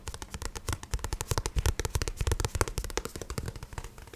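Fingertips tap and scratch the glossy card cover and spine of a paperback book in a quick, uneven run of short, dry taps. Each tap has a soft low thud with almost no ring, mixed with bright, crackly scratching.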